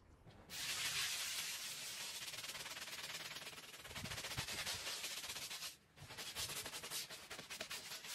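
A hand-held scrub brush is pushed back and forth across the pile of a small, oval, fringed woven rug that lies flat on a concrete floor, soaked and covered in soap foam, while the other hand steadies the rug. The result is a steady, bright, wet hissing rasp of rapid scrubbing strokes. It pauses briefly near the six-second mark, then resumes.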